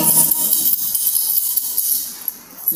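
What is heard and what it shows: Metal coins are shaken together, making a bright, high jingling and clinking rattle that continues steadily before fading out near the end. Most of the sound sits in the high range, with little low-end weight.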